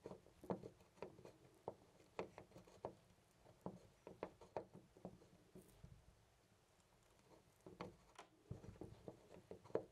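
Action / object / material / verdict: shake / metal door knob on a panel door / metal / none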